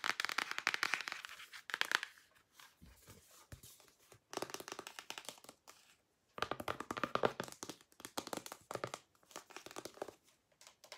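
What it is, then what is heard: Cardboard eyeshadow palette. Long nails tap rapidly on the cover of a small, flat, rectangular cardboard eyeshadow palette with pans inside, which is held closed and then open. The result is bursts of dense, crisp, dry tapping and crinkly clicks, bright and thin with almost no low end, separated by brief quieter gaps.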